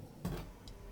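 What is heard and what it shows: A baked and cooled yogurt wheat bread loaf is tapped or pressed on its crust, giving two quiet hits: a dull, low knock with a brief crackle, then a fainter, higher tick. The crust sounds crispy.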